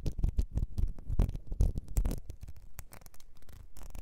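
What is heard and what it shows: Long nails scratch the ridges of a small, ribbed, clear glass perfume bottle, partly filled and held over fur, and tap its base. The result is a quick, irregular run of dull, low scratches and soft taps that die away almost instantly, with brief brighter flicks now and then.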